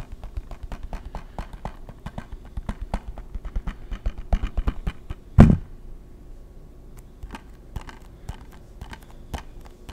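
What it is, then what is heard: Plastic game case tapped. A hollow hard-plastic PS3 game case, held flat, is tapped and scratched with fingertips. Quick, dull clicking taps come in dense runs for about five seconds. A single louder knock follows, then sparser taps with soft scratching between them.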